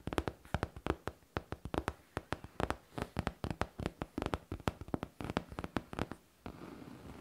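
Long painted nails tap quickly on a hollow, smooth-surfaced pink faux leather backpack, making about 38 short, dull, low taps with almost no ring. The taps come in uneven bursts, then give way to a soft, steady rustle for the last second.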